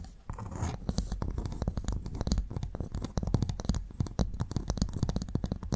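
Two empty, hollow halves of one large freshwater mussel shell with a brown ridged outer surface are held upright beside two microphones while both hands scratch the ridges with long painted nails. A dense, rapid stream of dry, crackly scratches and clicks is heard, mostly low and thick in tone with no ring after each stroke.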